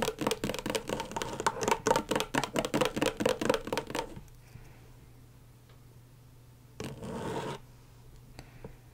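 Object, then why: Thin plastic LED light pad. Long stiletto nails on both hands tap and scratch quickly across the plastic surface of a flat, thin, backlit rectangular LED tracing pad, making 22 sharp clicky, scratchy hits over about four seconds. The tapping then stops, leaving a faint low hum, broken by a brief, louder scratch near the seven-second mark and a few soft ticks.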